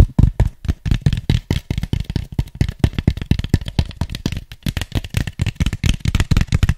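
Fingertips tap and scratch an empty, hollow white styrofoam cup while turning it in the hand, giving a rapid run of about 38 short, dull, hollow taps. The taps are deep and low with a faint scratchy rustle between them, and each dies away almost at once.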